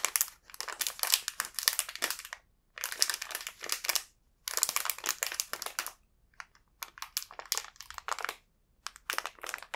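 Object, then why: Soft cake snack in a thin plastic film wrapper. A small, full Bourbon banana soft omelet cake in an individually wrapped yellow plastic film wrapper is held in both hands while the fingertips turn it over and squeeze it, with other snack packages sitting untouched on the table. Bright, dry crinkling comes in dense bursts separated by short silences, becoming choppier and more broken toward the end.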